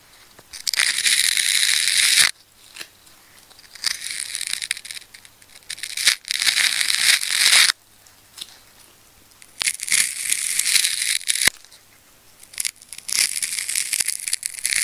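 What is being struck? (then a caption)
Ball of wound plastic tape. A needle-point craft knife scratches and slices through the wound plastic layers of a red, black and pink tape ball, already partly carved open, while hands hold it. Five long bursts of bright, crackly scraping and tearing come through, separated by short quiet pauses with faint ticks. The sound is dry and mostly high, with no low rumble or lingering ring.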